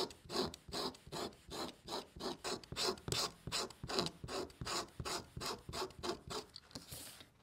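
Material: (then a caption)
Leather. A pointed marking tool is drawn repeatedly along a ruler, scratching and scoring a line into a flat, thin panel of red and black dyed leather lying on a cutting mat. Quick, raspy scraping strokes repeat at a steady pace of nearly three per second, each a short bright rub with a dry, papery texture. A softer, hissing stroke trails off at the end.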